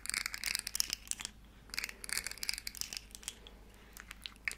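A small, hollow, rainbow-colored plastic segmented slug fidget toy is flexed and clicked in the hands while long nails scratch along its segments. Quick, bright, crinkly clicks and scratchy rasps come in bursts with short quiet gaps between them.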